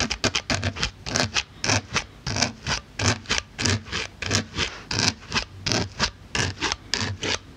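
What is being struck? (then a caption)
Polyethylene foam block. A pink-handled needle tool pokes and scratches the top surface of a solid white polyethylene foam block. The result is a rapid, uneven series of short, bright, dry scratching bursts with a soft, muffled thump beneath each one, and almost no ring between them.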